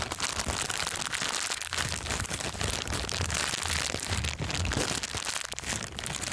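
A thin, empty, transparent plastic bag is held up close and crumpled by hand. A dense, continuous crinkling and crackling runs throughout, bright and hissy with a light low rumble underneath.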